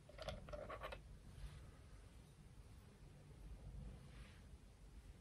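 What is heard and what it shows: A sea rock from the beach is tapped with four quick, bright clicks in the first second. Soft scratching follows over a steady low rumble and hiss, with a faint rasp near the end.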